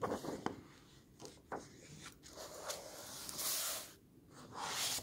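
An open hardcover book with illustrated paper pages is handled as fingertips and a flat hand rub across the pages and turn them. Soft papery rubbing and brushing is heard, with a few sharp flicks and two longer bright, hissing swishes as pages sweep over. The sound is quiet and close, with little low end.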